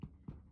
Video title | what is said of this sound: Basic White Bread -Full step by step video. Yes you can make this Simple mouthwatering loaf | you know it's cooked if you tap it and it sounds Hollow